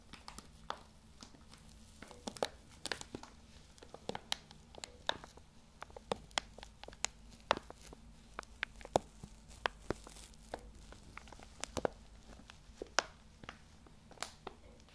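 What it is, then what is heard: Foil coffee bag being crinkled. A dark, medium-sized laminated foil coffee bag that appears full is held in the hands and squeezed and crinkled with the fingertips close to the microphone. Quiet, irregular bursts of sharp, bright crackles and snaps sound throughout, each dying away almost instantly over a soft, steady low hum.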